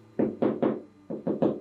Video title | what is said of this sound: So Danca Elektra: First Impressions and Sewing tips | And they're quiet. So, like, I know you can hear that.